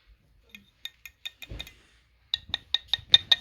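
A new replacement part from an Amazon timing belt and water pump kit, bought for a Toyota Sienna timing belt and water pump job, is tapped to check what it is made of. The taps come in two quick runs with a short low rumble between them, each a short, dry, bright click with almost no ring. The sound shows the part is plastic, not metal.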